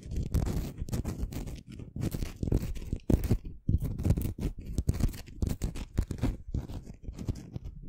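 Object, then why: Rough crystal stone. A small, solid, rough-surfaced pink crystal stone, held in the fingers above a microphone, is scratched and rubbed with long fingernails. The result is a quick run of dry, rasping scrapes in short bursts with brief pauses between them. The sound is heavy and muffled in the low end from the close microphone, with faint bright grit on top.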